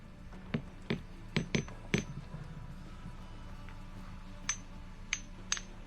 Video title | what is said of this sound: ¡DESCUBRE EL SECRETO DE RUTA DE LAS ESTRELLAS EN 25 MINUTOS! | ce sont des pierres chantantes